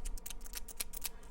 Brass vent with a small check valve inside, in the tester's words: a good test is if you shake it and you can hear it rattle